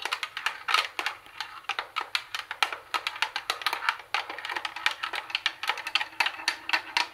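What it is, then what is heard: Plastic boombox casing tapped with nails. Long nails tap and scratch on the speaker grille and plastic tuning panel of a plastic CD cassette boombox. Rapid, uneven, bright clicky taps die away almost instantly, mixed with thin scratching and no low end.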